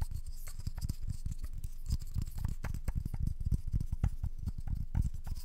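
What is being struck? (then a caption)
Round wooden candle lid. Long nails scratch and tap the edge and surface of a round wooden candle lid held in both hands close to the mic. A quick run of soft, low, dull taps mixes with dry scratching, with bright, faint scrape detail above. Each tap dies away almost at once.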